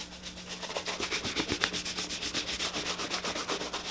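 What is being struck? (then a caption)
Leather boot and bristle shoe brush. A tan leather boot is held up and buffed quickly with a bristle shoe brush. The brush makes rapid, rhythmic strokes at about four per second, giving a hollow, bright scrubbing rub over a faint, steady low hum.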